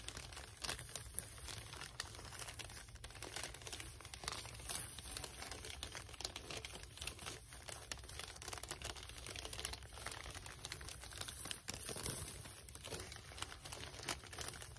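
Long red nails scratch and rub across a gift box wrapped in white paper with red polka dots, lying flat, with both hands spread over the surface. A steady, quiet stream of dense crinkling and scratchy rustles is heard, with a bright hiss on top and a low hum underneath throughout.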